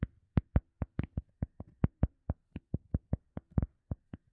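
Fingertips tap and scratch a round, solid, soft teal EVA foam sponge disc. Nineteen short, dull, low thuds come at an uneven pace, some in quick doubles, each dying away almost instantly, with faint scratchy rustles between them.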